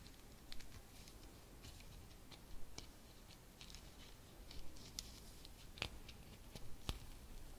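Long red nails scratch and tap a medium round bauble with a brown fabric cover, rose embroidery, a blue ribbon and metal studs while it is held. Quiet, soft scratching runs under a low background rumble, broken by scattered short, bright clicks at an uneven pace.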